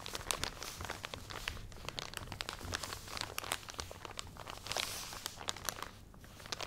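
A full plastic package of cotton pads, held beside the microphone, is scratched with fingernails and squeezed. The result is dense, close-up crinkling and crackling with many sharp, bright ticks over a faint low hum. The level dips briefly near the end.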